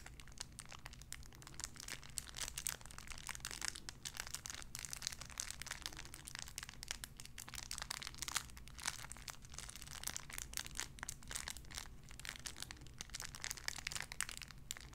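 A clear cellophane wrapper around a small sun-shaped figure is crinkled with fingertips for about fifteen seconds. Dense, bright, crackling crinkles come in quick, uneven bursts over a steady low hum.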